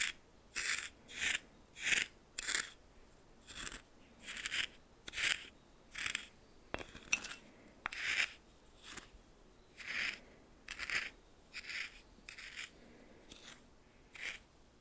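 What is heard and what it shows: A red plastic spoon held in the fingers stirs and scrapes through white coarse salt in a small, shallow glass bowl with a patterned rim, half full. About twenty short, bright, gritty crunching scrapes are heard, separated by quiet gaps, with the crystals rasping against the bowl.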